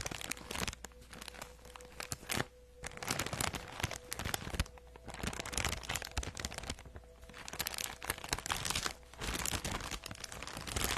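A soft, empty teal printed plastic poly mailer bag is held up and scratched and crinkled with long acrylic nails. The sound is dense, bright crinkling and crackling in bursts, with brief quieter gaps between them.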